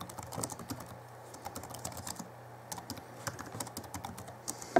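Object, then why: Plastic laptop keyboard. Fingertips of both hands type on the backlit plastic keys of a small Alienware M11x2 laptop from 2011. Quick, dry, light clicks patter unevenly over a faint steady low hum, ending with one sharper, louder tap.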